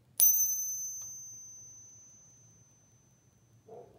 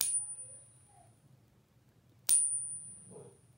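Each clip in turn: First: genuine silver quarter. Second: copper-nickel clad quarter, not silver.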